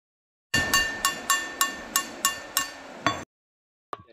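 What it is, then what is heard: Ringing boulder with a metallic, pot-like tone. A large rock boulder is struck with another stone, giving a metallic ring like a metal pot. Nine sharp, evenly spaced clinks with a steady ringing tone near 1.1 kHz sound over about three seconds. After a brief pause, a tenth strike follows.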